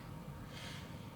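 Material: Nothing is struck.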